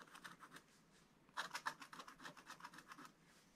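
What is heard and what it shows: A wooden stylus scratches short strokes into a black coated scratch-art page in a spiral book, working near the barn in the picture. About a dozen quick, dry rasping strokes come in uneven bursts, with a quieter pause in the middle. Each is a thin, bright scrape centered in the upper mids with a hissy top and almost no low end.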